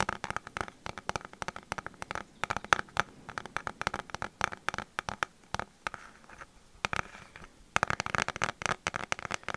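A pink plastic paddle hairbrush with a hollow plastic back and handle is tapped and scratched on its back with fingertips and nails close to the mic. Rapid, dry, crackly clicks and taps come in dense bursts, with a bright hollow plastic tone centred around 1.3 kHz. A quieter stretch of softer scratching sits in the middle before the busy tapping resumes.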